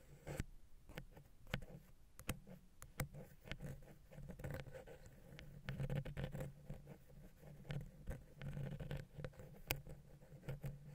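A wooden ear pick taps and scratches the side of a silver metal XY stereo microphone capsule on a Zoom H6 recorder. Quiet, close, dry clicks and short taps are scattered among rough scratching passages, with a low, boomy undertone around 120 Hz. The sound carries mostly low-end weight and has very little high sparkle.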